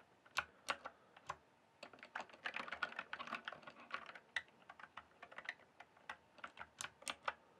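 Both hands type with their fingertips on a full-size backlit plastic mechanical keyboard with a hollow case. A few spaced clacks open the clip, then a dense flurry of keystrokes, then evenly spaced clicks again. Each hit is short, sharp and bright, with almost no low end and a quick decay.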